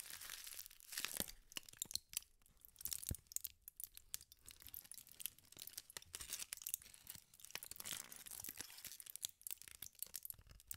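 An elongated, crumpled piece of aluminium foil is squeezed and twisted with the fingertips. It gives off dense, bright crinkling and crackling with sharp, short snaps and very little low end, continuing steadily throughout.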